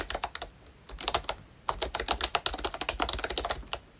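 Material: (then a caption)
Plastic. Both hands type with their fingertips on a pink plastic ROYCHE Disney Mickey Mouse retro membrane keyboard with round black keycaps. Quick bursts of short, bright clicky taps die away almost instantly. Brief pauses break the flow before a steady run of typing fills the last half.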